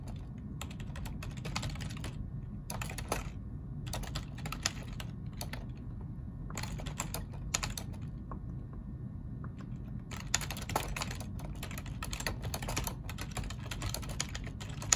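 Two hands type with their fingertips on a black plastic ergonomic computer keyboard. Bursts of quick, bright key clicks are broken by short pauses, over a steady low rumble. Each click stops almost instantly.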